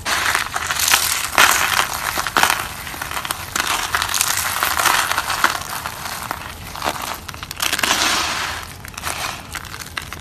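Fingertips crush and crumble a pile of dry orange soap slices and flakes on a wooden table. A dense, bright crunching and crackling runs throughout in overlapping bursts, with sharper snaps standing out along the way.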